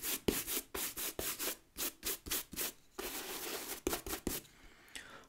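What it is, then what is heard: Leather work boot with rubber sole being brushed. A wooden bristle brush scrubs a brown leather work boot with a rubber lug sole, working over the sole and upper in repeated strokes. Quick, bright, scratchy brushing strokes come one after another, then blend into a steadier rasp with a few sharper swipes before fading out quietly.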